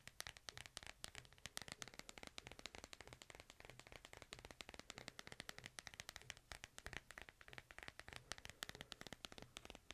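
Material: Plastic.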